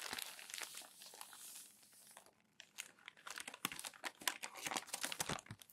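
Newsprint newspaper sheets are crumpled and smoothed down by palms on a desk. About two seconds of steady, bright rubbing and rustling fade to a brief near-quiet, then sharp, crackling crumples burst irregularly until the end. The sound has very little low end.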